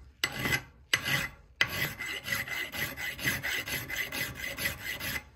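A flat metal file is stroked across the claw and face of a solid steel head from an extremely rusted Italian hammer, which is clamped in a vise for restoration. Three long, separate rasping strokes are followed by a quicker run of shorter back-and-forth strokes, each giving a bright, gritty scrape with a steady metallic whine around 2 kHz and no ring after it stops.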